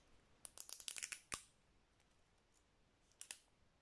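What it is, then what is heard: Plastic spice jar tapped with nails. Long nails tap and click on the brown plastic lid and side of a small cylindrical spice shaker jar filled with ground spice. A quick run of sharp, bright clicks ends in one stronger tap, then after a quiet pause, two more clicks follow.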